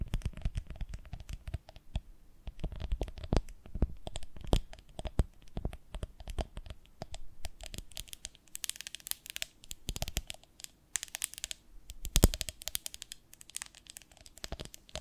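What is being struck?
Ribbed glass jar with lid, filled with honey.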